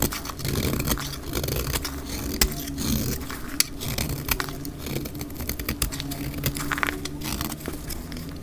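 A black utility knife blade shaves a solid, dry green bar of soap held in the hand, with the flakes piling up on a cloth, sped up to twice normal speed. Steady dry scraping is dotted with many sharp, bright crackling clicks over a constant low rumble.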